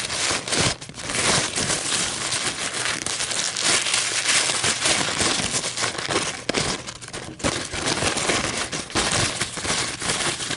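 A thin, white, crinkled paper coffee filter is held and stretched by hands, then scratched and crinkled with long nails on a table. The result is a steady, dense crinkling and scratching texture, bright and high with little low end, with brief dips and flurries of crackle throughout.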